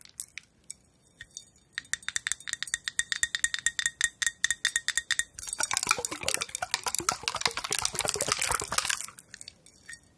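A hand-sized, heart-shaped clear glass vessel filled with liquid and colored glass bulbs is tapped with long nails. A few scattered taps give way to steady, rapid clicking with a ringing glassy tone near 2 kHz. It then builds into a dense, bright clattering flurry before thinning back to a few light taps.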